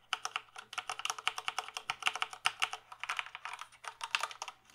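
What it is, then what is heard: Plastic computer keyboard. Fingertips type steadily on the keys of a full-size plastic gaming keyboard held tilted, producing a rapid, continuous stream of short, crisp plastic clicks and clacks. Each keystroke is bright and snappy with almost no ring, and a faint low hum sits underneath.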